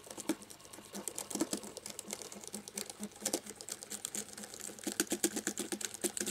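A cotton swab rubs along the key edges in different rows of a black plastic laptop keyboard, setting off a rapid, uneven patter of light, bright key clicks with a faint low hum underneath. Each click is short and dry and fades almost at once.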